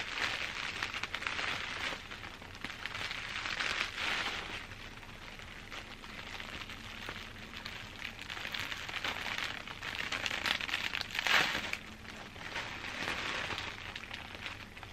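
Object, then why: Plastic bubble wrap sheet. A large loose sheet of clear plastic bubble wrap with hollow air bubbles is handled with long dark-painted nails and fingertips. It gives a continuous bright crinkling and scratching that swells and fades in waves, with a sharper peak near the eleventh second.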